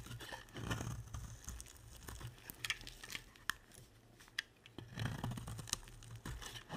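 A box-cutter blade scrapes and carves shavings off a dry, hand-sized black and white striped soap bar held in one hand with long painted nails. Crisp, crunchy scraping and crackling strokes are broken by sharp, bright ticks as shavings snap off, over a low steady rumble.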